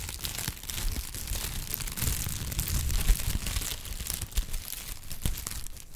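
A pad of brown honeycomb kraft paper wrap is crumpled and squeezed between the fingertips. It makes a steady, dense crinkling and crackling with soft low rustle underneath and brighter crisp snaps scattered throughout. A few louder crunches stand out near the middle and toward the end.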